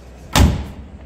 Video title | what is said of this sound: Masters of Precision: The Hidden Atelier for Jaguar E-Type Restoration | a solid noise when the door is closing